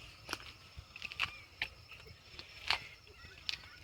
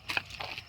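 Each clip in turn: First: Scattered short, clicky knocks with a thin upper-mid tone and no ring: a plastic scooter panel. Second: A few quick knocks on a scooter body panel give bright, clicky taps that show the sheet metal beneath.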